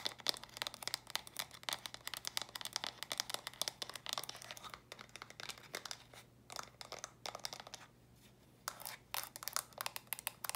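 Long nails rapidly tap and scratch on small hollow, stacked plastic brick storage boxes with a studded purple top, turned to show the studs. The result is a dense stream of sharp, bright clicks and crinkly scratching with almost no low end, pausing briefly near the end before the quick tapping resumes.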